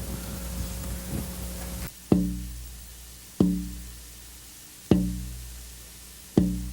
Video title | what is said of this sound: Luthiers | I'm hearing the kind of lowest fundamental tone of the wood now. And I listen for how long it rings,